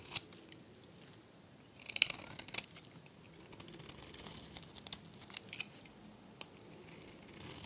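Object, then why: Soap bar shaved with a metal blade. A metal blade shaves curls off the face of a hand-held bar of dry, varnished, pale green soap with a blue edge. The clip is quiet, with crisp, bright scraping and crackling and sharp dry snaps at irregular intervals. There is almost no low end.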